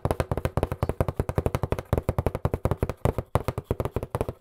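A hollow, medium-size white printed cardboard box, held in both hands, is tapped fast with fingertips and nails. About 35 quick, slightly uneven taps produce dull, low, hollow thuds with a faint papery click and almost no ring.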